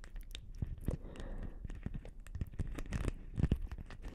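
Long nails scratch and tap a hollow, palm-sized blue beaded plastic Christmas ball ornament with a hanging ribbon, held close to the microphones. The result is a dense run of crisp, crackly scratches and quick, dry taps with a soft, close, low-heavy texture.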